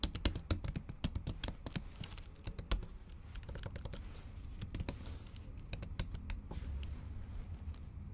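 Long acrylic nails type on a MacBook keyboard covered with a pink silicone keyboard cover. The clip is a fast run of short, dry clicks and taps, with sharp bright ticks from the nails over a soft low thud from the cushioned keys. The typing carries on unevenly for the whole clip.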